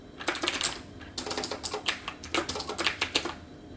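Both hands type with their fingertips on a backlit, hollow-cased computer keyboard with round plastic keycaps. Two bursts of quick, bright, clicky keystrokes are heard, separated by a brief pause around one second. Each key press is sharp and short, with very little low end.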